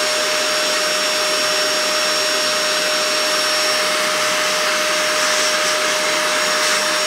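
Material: Nothing is struck.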